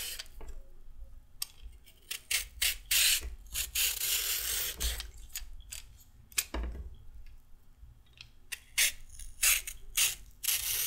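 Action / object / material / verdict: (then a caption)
scrape / raw carrot scraped with a peeler / carrot / none. A raw carrot held upright is scraped repeatedly with a handheld peeler, and the long peel strips pile up on the table. Each stroke makes a short, bright, crisp rasping scrape with little ring, separated by brief pauses over a faint low hum.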